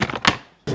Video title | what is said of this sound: 管楽器の構造を持つ高級スピーカー。50年以上をかけて究極の音を求める意志。 | Ça sonne étouffé, n'est-ce pas ? C'est le son typique de des conceptions scellées ou à évent bass-reflex.